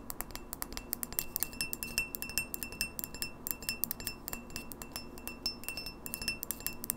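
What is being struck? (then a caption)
Clear drinking glass. A tall, empty, clear pint glass with an etched logo, held in the hand, is tapped quickly on its walls with long fingernails. The result is a rapid, irregular stream of sharp, bright clinks and clicks that stop almost at once, over a faint steady tone and a soft low background.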